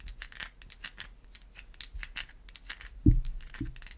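Long white acrylic nails scratch a solid white bar of soap held up close, making a quick run of dry, bright, crisp scrapes. Near the end, two duller, low knocks sound out over the scratching.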